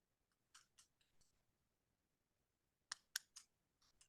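A metal Ridge keychain, with no keys on it, is tapped to show it is pure metal. A few soft, bright clicks are followed by a louder run of sharp, high-pitched metallic ticks that stop instantly with almost no ring.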